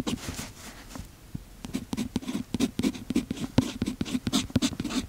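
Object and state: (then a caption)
Pen nib writing on notebook paper. A fountain pen's metal nib scratches across the page of an open paper notebook while writing, with the other hand steadying the notebook. After a quieter first second, a steady run of short, dry, scratchy strokes follows, each with a bright, papery edge over a faint low tone near 250 Hz.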